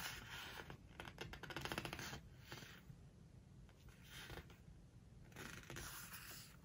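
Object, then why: Glossy paper page of a hardcover book. A large open hardcover book with glossy paper pages is handled by hand: a flat hand rubs across a page, a fold-out page is bent and turned with the fingers, and nails scratch the page. The result is bursts of bright, papery swishing and crinkling, with a quick run of dry scratches in the first couple of seconds and softer rubbing between them.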